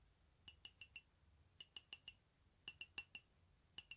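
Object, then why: Ceramic mug. An empty, hollow white ceramic mug printed with "COFFEE" is held in one hand and tapped with the fingernails of the other. Fourteen quick, bright clinks come in three groups of four and a final pair. Each has a high ring near 2.7 kHz that dies away almost at once.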